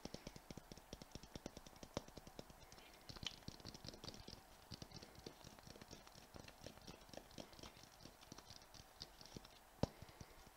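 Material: Glass.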